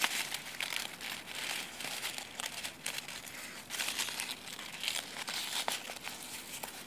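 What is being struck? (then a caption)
Chestnut leaves. Fingertips and nails crumple and rub the brittle leaves on a branch of dry brown chestnut leaves. The result is a steady, bright crinkling and crackling with quick sharp snaps and almost no low end, rising and falling in short bursts throughout.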